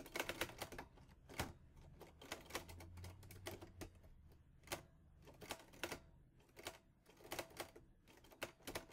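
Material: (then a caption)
Metal. Fingertips type on the keys of a mint-green Olivetti Lettera 22 portable typewriter with a metal body and paper loaded. Sharp, bright metallic clacks come in quick irregular bursts with short pauses between, each strike dying away almost at once over a faint low hum.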